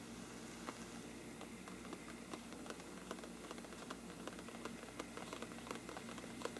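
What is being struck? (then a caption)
Paper lampshade. Fingertips of both hands scratch down the sides of a large, hollow, thin-walled bell-shaped lampshade with a mottled parchment-like paper surface, moving from top to bottom. A quiet, steady papery rustle sits over a low hum, broken by scattered sharp, bright ticks and crackles that die away almost at once.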